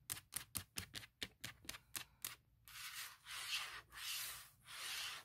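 Fingertips and nails work over a forest-print hard plastic shell case fitted on a MacBook Pro laptop lid. First come 11 quick, bright, dry taps or scratches with almost no ring. These give way to slower, sustained hissing scratches that swell and fade in long, bright strokes across the plastic.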